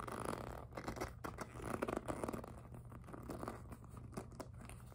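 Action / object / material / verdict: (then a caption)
scrape / PVC jelly plastic handbag / PVC plastic / none. Long nails scratch and tap the front of a hollow, pink, glossy jelly PVC handbag, making quiet, dense scratching and rapid light clicks. A steady low hum runs underneath throughout.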